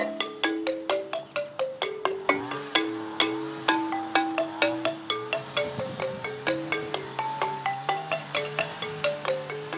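A home-made slate lithophone, a stone xylophone of about ten flat, solid, thin recycled slate slabs resting on white tubes on grass, is played with two red-headed felt mallets on wooden handles. About 37 bright, pitched taps move across the slabs at roughly 128 per minute to play a tune. Each note rings briefly, for about a quarter second, around a main pitch near 324 Hz.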